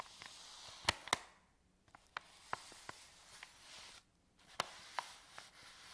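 A folded, empty white paper bag is rubbed and crinkled on a table by palms and fingertips. A steady, bright papery rustle is broken by eight sharp, short crackles, with two brief near-silent pauses.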